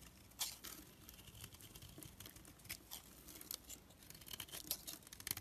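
A black blade scrapes across a solid, palm-sized orange bar of bath soap held in the hand, shaving thin flakes off its surface. The result is a quiet series of crisp, bright scraping rasps with short, dry attacks that stop almost instantly, over a faint low background.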